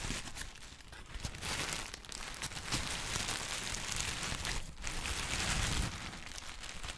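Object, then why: Tissue paper. Yellow-green textured tissue paper is folded and crumpled with the fingertips of both hands. A steady, dense crinkling and crackling runs throughout, bright and papery with a soft low rustle beneath, swelling slightly toward the end before easing off.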